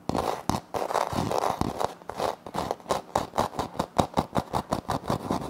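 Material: Laminate.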